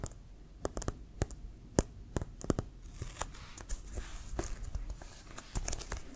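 Fingernails tap and scratch the pebbled surface of a hollow, inflated brown leather American football with a white stripe, held near the shoulder. Sharp, dry clicks with a soft hollow thump ring out in an irregular series, then give way to denser, bright rasping scratches over the grainy surface, ending in a few more taps.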